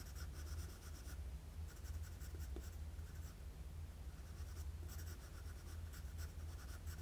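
A wooden graphite pencil draws jagged strokes across a flat sheet of drawing paper, making soft, bright scratching in bursts separated by brief pauses. A steady low hum sits underneath, and the whole clip is quiet.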